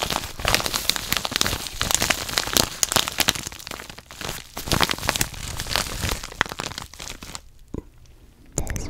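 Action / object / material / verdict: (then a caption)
scrape / padded kraft paper mailer envelope / paper / none. Fingertips with dark painted nails crinkle and scratch a yellow kraft padded paper mailer envelope with a barcode label, hollow with contents inside, close to a microphone. Dense, bright crackling and crinkling runs almost continuously, then drops to near silence with one brief rustle before a louder burst of crinkling returns at the end.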